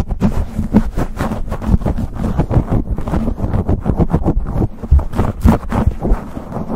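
A black foam windscreen on a microphone is gripped, scratched and rubbed with fingertips and short nails. The result is a fast, steady run of dense, low, muffled scratching and thumping bursts with little high end.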